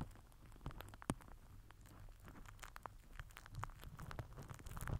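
A microphone head wrapped in crinkled purple plastic film is rubbed and pressed with the end of a plastic glue stick. The result is a quiet, continuous patter of crinkling crackles and sharp, bright pops over a low, muffled rumble, with a few louder snaps standing out.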